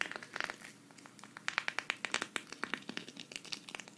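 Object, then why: Sequin fabric patch. A thin, flat green sequin-fabric cactus patch, held at the right, is scratched with long red nails so the sequins flip. The result is a rapid, uneven run of crisp, bright clicks and crinkly ticks, each dying away almost instantly, with hardly any low end.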